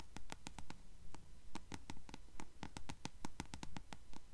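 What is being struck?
Paperback book page edges, paper.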